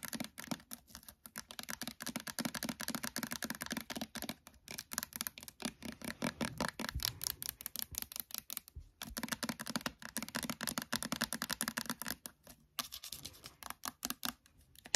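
Long nails rapidly tap and scratch the sides and label of a small, filled, clear plastic hand sanitizer bottle of orange hand gel with a blue cap. The result is a fast, continuous stream of sharp, dry clicks with bright, hissy scratching, each tap dying away almost instantly, with a few brief pauses between bursts.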